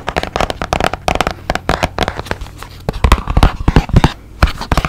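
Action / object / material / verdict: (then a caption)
tap / small cardboard box / cardboard / none. A small, hollow white and blue printed cardboard box, held beside the mic, is tapped rapidly with fingertips and nails. The result is a quick, uneven run of short, dry, hollow knocks with a low, boxy body, each dying away almost at once.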